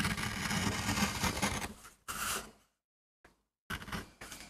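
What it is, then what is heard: MDF carving block being gouged. A metal gouge carves and scrapes fine lines into a small, flat, solid MDF board held by fingertips, producing a dense, gritty scraping with a steady low tone near 200 Hz. The cutting then breaks into shorter bright scrapes separated by moments of silence, with a brief tick before a final burst of carving.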